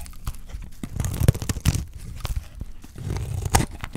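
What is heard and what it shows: A dry, solid green soap bar held in the hand is shaved with a utility knife blade into thin curls. Each pass gives a short, dry, crunchy scrape with a low, thudding body and quick crackles on top. The strokes come in a steady, uneven series with no ringing afterward.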